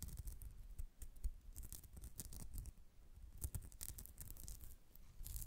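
Long nails scratch across the surface of a white polyester mesh cat-face pouch while it is held slightly bent in the hands. The result is a soft, steady, quiet crackling scrape made of many rapid short strokes, with bright hissy streaks over a low rumble.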